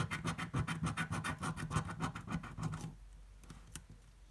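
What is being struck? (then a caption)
Paper scratch-off ticket scraped with a coin. A coin scratches the coating off a green, thin-card paper scratch-off lottery ticket held flat, making quick, rasping back-and-forth strokes at about three and a half per second. The strokes have a low body and a bright scraping edge. After about three seconds the scratching stops, leaving near-silence with a couple of faint ticks.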